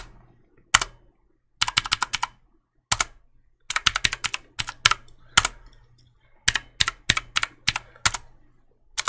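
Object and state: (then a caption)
Plastic mechanical keyboard. Fingertips click the keys of a black plastic mechanical keyboard held vertically in one hand, producing sharp, bright clacks in irregular bursts and single taps separated by short silences. Each click is crisp and dies away almost instantly.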